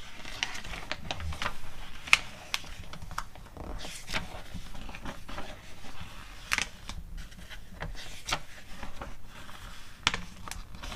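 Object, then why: Glossy paper magazine. Long nails scratch and tap the pages of an open glossy paper magazine catalog and turn them. Sharp, bright taps and clicks stand out over a low rustling, crinkling background as the glossy pages are scratched and flipped.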